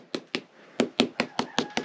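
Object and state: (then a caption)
Well-bonded lime plaster render on stone wall. Eight quick, dry knocks on a lime plaster render over a stone wall, each a short, solid tap that dies away almost at once with no hollow ring. This spot is well bonded to the wall, unlike a nearby patch that sounds hollow.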